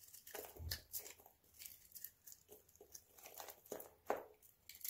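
A hand-sized, dry, solid white bar of soap with remnants of blue polish is held in the hand and shaved with a utility knife blade. Quiet, short, crisp scraping crunches repeat in uneven bursts, with bright, hissy edges. The soap comes away in crunchy flakes.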